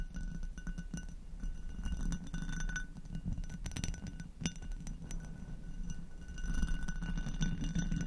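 Long acrylic nails tap and scratch the textured bowl of an inverted, hollow and empty amber hobnail glass goblet. A dense run of quick, dry clicks and light glassy ticks mixes with scraping over a steady low rumble, with faint bright ringing tones above. Each tap dies away almost at once.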